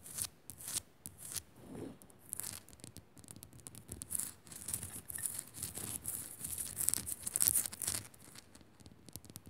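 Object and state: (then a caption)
Rock salt lamp scratched and tapped. Fingers scratch and tap on a rock salt lamp, making quick, dry, bright scratching bursts mixed with soft taps. The sounds are quiet and choppy, with no ringing after each stroke.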